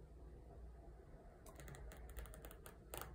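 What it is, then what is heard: Glossy paper magazine. Fingertips and painted nails tap and scratch the bottom edge and surface of a glossy fashion ad page in a Vogue magazine that is partly lifted by the other hand. A quiet, steady low rumble fills the first half, then a quick run of sharp, bright, clicky taps starts at about 1.5 seconds, with the loudest cluster near the end.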